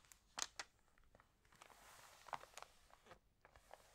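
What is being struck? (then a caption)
Glossy paper magazine. Fingernails scratch across the glossy pages of a Libelle magazine as fingers turn them. The result is quiet, bright, crisp crinkles and papery scratches, with a few sharper snaps standing out over a soft hiss and very little low end.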